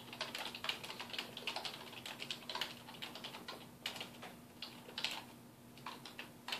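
A black plastic computer keyboard on a wooden desk is typed on with the fingertips of both hands, making rapid, bright key taps that click in uneven bursts. A faint steady low hum runs underneath throughout.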